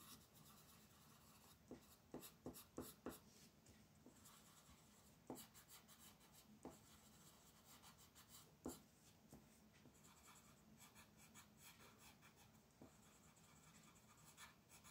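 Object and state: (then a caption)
Colored pencil on paper. A dark blue-purple wooden colored pencil is rubbed back and forth across a flat sheet of white paper printed with a colored mandala, lying on a dark table. A soft, continuous scratchy rubbing runs throughout, with a steady low hum beneath and scattered brighter ticks and scrapes as the pencil tip strokes.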